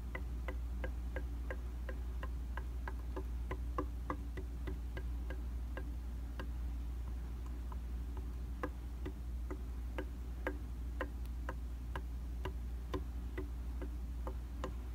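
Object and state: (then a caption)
Glass mirror tapped. A round glass tabletop makeup mirror of solid flat glass is tapped with the light-colored tips of a small tool with a black handle, giving a fast, steady tick-tock rhythm of short, sharp clicks that die away almost at once. The taps are quiet and sit over a constant low hum.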